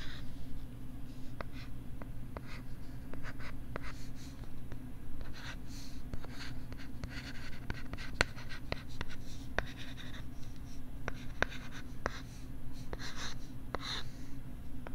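A stylus writes and scratches across a pink plastic LCD writing tablet held at the left microphone ear, making soft scraping strokes with faint, sharp ticks scattered throughout. A steady low hum sits underneath the whole time.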